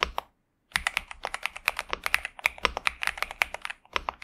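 A pink and purple 65% Xinmeng M71 mechanical keyboard with TTC Superman and plastic keycaps, resting on a desk mat, is typed on continuously by both hands' fingertips. After a brief pause near the start, a dense stream of short, sharp clacks follows, each bright and crisp with no lingering ring.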